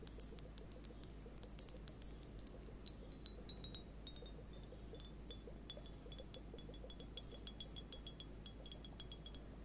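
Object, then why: Sealed plastic liquid timer with beads. A sealed, transparent plastic liquid hourglass timer filled with purple liquid and water beads is held up close with long nails and turned or shaken so the beads move inside. It makes many quick, irregular, bright glassy clinks and ticks with very short ring, over a quiet low background hum.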